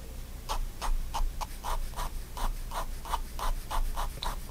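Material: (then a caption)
Paper. A fine-tip pigment liner pen makes repeated short hatching strokes on the paper of a spiral-bound white sketchbook lying flat on a wooden desk. Each scratchy stroke has a papery rasp centered near 1 kHz with a brighter, hissy edge, coming about three per second in a loose rhythm. A faint low hum sits steadily underneath.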